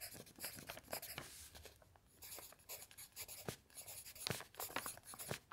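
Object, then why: Pen on a paper sheet. A pen held in the fingers scratches across a thin lined paper sheet lying flat on a table, while the other hand rests on an open dictionary without moving it. Quiet, bright scratching strokes come in short bursts with brief pauses, including a softer hiss of a longer stroke, at a low, close level.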